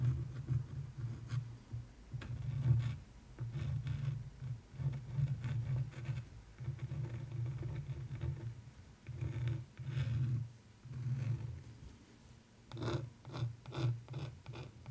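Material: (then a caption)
Canvas. A wooden stick traces lettering and outlines across the upper part of a framed canvas art print, producing soft, low scratching and rubbing strokes. The strokes come in repeated bursts with brief pauses between them, and some have light tapping ticks with a faint bright edge.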